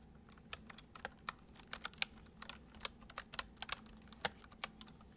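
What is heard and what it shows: Fingertips tap the keys of a white plastic computer keyboard in gentle, irregular typing, about twenty short, bright clicks over a quiet background. Each keystroke is crisp and dies away almost instantly.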